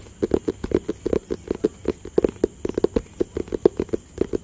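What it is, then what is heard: Cardboard box tapped with fingertips. A hollow rectangular white, grey and blue cardboard product box is tapped with fingertips and nails. About 25 quick, dry taps land in an uneven rhythm, each a short hollow knock centred around 390 Hz that dies away almost instantly.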